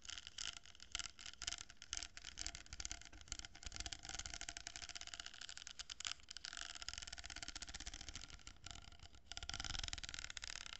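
Long nails scratch and tap along a hollow cardboard tube, held horizontally, that has a row of plastic pearl beads. The result is a dense, bright, papery rasping with quick dry taps that die away almost instantly. It stays steady and quiet, growing a little louder toward the end.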